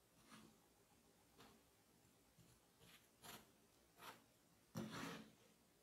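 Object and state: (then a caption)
Kinetic sand being scooped. A metal melon baller with a red handle scrapes and scoops through a solid mound of moldable red kinetic sand resting on a black surface. A series of soft, gritty rubbing and cutting scrapes rises from a quiet background, each with a bright, hissy texture. The last scoop is the loudest and longest.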